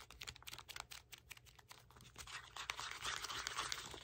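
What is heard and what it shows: A red cardboard box is held in both hands while fingertips and nails tap its top and scratch its sides. Quick, dry, bright taps come first, then blend into a denser, continuous scratching that grows slightly louder toward the end. The sound stays quiet throughout, with almost no low end.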